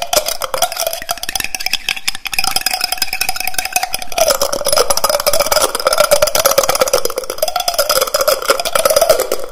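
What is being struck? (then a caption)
Glass jar with metal screw lid. A small, empty, clear glass jar with a metal screw lid is held in one hand while fingertips and nails tap and twist the lid fast. The result is a dense, steady stream of rapid clicks and scratchy, bright ticks over a ringing mid tone that drops slightly lower about halfway through.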